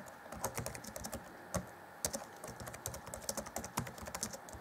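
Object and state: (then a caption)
Plastic laptop keyboard. Fingertips of both hands type rapidly on the black plastic chiclet keys of an Acer Chromebook C20 (2014) laptop, set in its grey keyboard deck. A fast, steady stream of short, dry clicks and taps, each with a bright edge, comes with occasional louder key strikes. Each click dies away almost at once.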